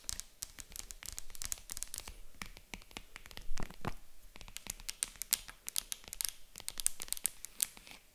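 Long acrylic nails tap and scratch the padded top of a small, hollow, white faux-leather zippered jewelry box with stitched seams. Quick, crisp clicks come in dense bursts over a soft, bright scratching and rustling texture. Each tap is dry and short, with no ring.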